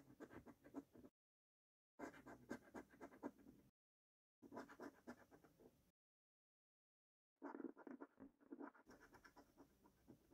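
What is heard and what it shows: A coin held in the right hand scratches off the middle and right panels of a thin, flat paper £2 Gold lottery scratchcard, held by the fingertips on a dark wooden table, with repeated strokes. The quick, dry, papery scraping comes in four bursts separated by silent pauses. It has a mid-range body and a faint bright hiss on top.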